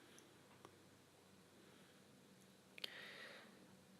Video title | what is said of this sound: 2.0, 2.1 & 2.2 Shakuhachi Demo by tkviper.com | it doesn't rattle at all, so it's a snug fit. It doesn't make any rattling sound when you shake it like that